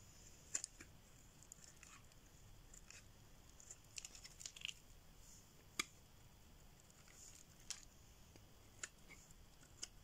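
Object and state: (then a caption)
Dry bar soap being carved. A solid green bar of dry soap is held in the hand and shaved with a metal blade, forming curls. Quiet, scattered, crisp scraping ticks and short bright cuts sound over a faint steady hiss, each dying away almost instantly.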